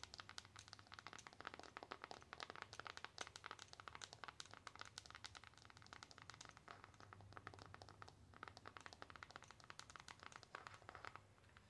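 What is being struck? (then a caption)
Foil-coated cardboard palette. Long acrylic nails tap rapidly on the back of a flat, silver metallic, foil-coated cardboard eyeshadow palette held in both hands. The taps come as a dense, steady stream of crisp, bright clicks with a light crinkly edge, each dying away almost instantly. A faint low hum sits underneath.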